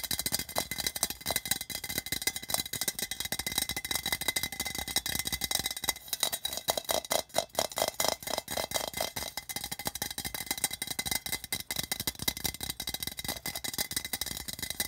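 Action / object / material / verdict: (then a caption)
tap / thin metal tin can with side seam / tin / none. Fingertips and nails tap and scratch quickly along the side seam and body of a hollow, patterned printed tin can. The result is a dense, continuous patter of short, bright metallic ticks and scrapes with almost no ring, and a faint hollow tone around 660 Hz stands out in the middle of the clip.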